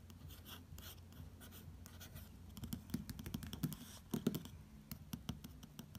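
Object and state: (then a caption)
Glossy paper magazine cover. A fingertip traces and taps the glossy paper lettering on a magazine cover. Quiet, soft scratchy swishes of the finger sliding over the slick paper run throughout over a low, steady background hum. In the second half, light, dry taps with almost no ring pop out above the tracing.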